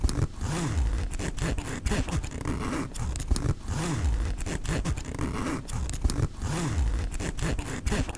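Fingertips slide the metal pull of a black mesh nylon backpack's front pocket zipper open and closed along the pocket. Each stroke makes a continuous low, rasping zip whose pitch rises and falls, with short sharp clicks between passes.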